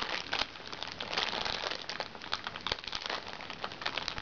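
A small, hollow makeup bag made from recycled plastic sachets lies flat while the fingertips and nails of both hands scratch and pinch its crinkly plastic film. The result is a steady, bright crinkling and crackling with many sharp little snaps, with almost no low end.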